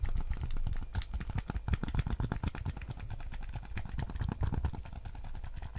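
A white PS5 DualSense controller with a hollow hard plastic shell is held in both hands while fingertips tap rapidly on its touchpad and shell. The result is a dense, continuous patter of short, dull, low plastic taps with almost no ring, each click ending instantly.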